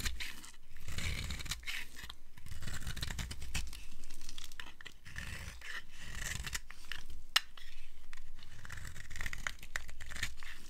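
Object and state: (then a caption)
Dry bar soap being scraped. A metal blade scrapes and carves flakes off a dry green-and-white striped bar of soap. The sound is a steady series of dry, crackly scraping and shaving strokes that swell and fade, heavy in the low end with bright crisp grit on top.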